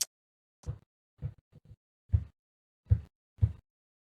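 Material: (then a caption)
Wood. Knuckles knock on a wooden surface for luck, giving seven short, dull, low thuds spread over about three seconds. The knocks are uneven in timing and die away almost instantly, with the last three the loudest and a faint high click at the very start.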